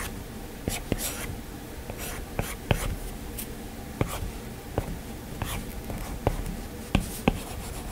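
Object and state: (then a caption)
Stylus tapping a glass tablet screen. A plastic stylus tip taps and scratches across the glass screen of an iPad while sketching. About ten sharp, short clicks stand out above soft, bright scratching strokes, with a low, steady background hum throughout.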